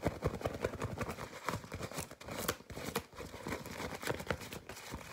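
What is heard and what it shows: A white disposable nonwoven fabric face mask with yellow straps is quickly crumpled and scratched with fingertips and nails. The result is a rapid, continuous stream of dry crinkling and scratchy rustling with soft low thumps, steady throughout.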